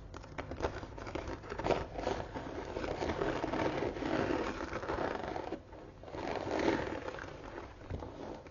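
Long nails tap and scratch across the embossed front panel of a closed brown croc-embossed leather tote standing on a table. The result is a steady, dry scratching and rustling texture that is strongest in the low mids with a bright, gritty edge. It briefly quiets about two-thirds of the way through before swelling again.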